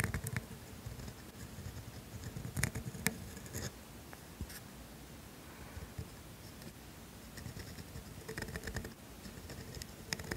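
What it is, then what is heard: Steel dip pen nib scratching on paper. A pointed steel calligraphy nib in a black holder, held by a hand with long pink nails, scratches across a flat sheet of thin grid paper on a desk while writing cursive in black ink. Quiet, dry scratching strokes come in short bursts, with brighter, sharper scrapes standing out over a soft, low background rustle.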